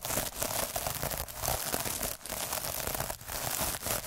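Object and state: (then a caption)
Plastic mesh scrub sponge, scratched. A hand-held derma roller with metal needles is rolled back and forth over a puffy, sparkly iridescent plastic mesh scrub sponge. It makes a dense, continuous scratchy crinkling and crackling with bright hiss, broken by brief dips between strokes.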